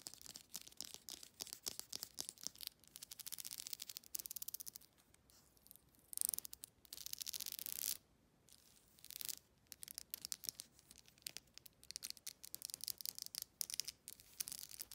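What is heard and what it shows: Long nails scratch and strum across the teeth of a solid, handheld black plastic wide-tooth comb. Rapid, crisp, high-pitched clicks and raspy scrapes come in quick bursts separated by brief pauses, with almost no low end. The sound is quiet and dry, and each click stops instantly.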